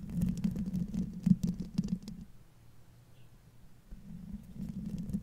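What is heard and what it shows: Long fingernails on both hands scratch the silver metal mesh grille over the hollow head of a large condenser microphone. The result is a low, boomy, uneven patter of scraping taps centered near 184 Hz, with short bright clicks. The scratching fades to a faint hush in the middle before building again toward the end.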